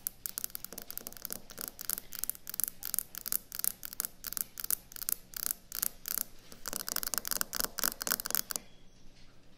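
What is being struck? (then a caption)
Quartz stone countertop tapped with fingernails. Long acrylic nails tap fast on a solid white speckled quartz or stone kitchen countertop, making a rapid, uneven run of crisp, bright clicks with almost no ring. The tapping continues in dense bursts for about eight and a half seconds, then stops, leaving a faint quiet tail.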